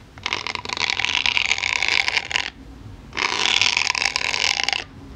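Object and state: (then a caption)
Polyethylene foam block. A pink-handled needle tool gently and occasionally pokes a solid white polyethylene foam block. Two long bursts of bright, squeaky, scratchy friction rise and fall, separated by a short quiet gap.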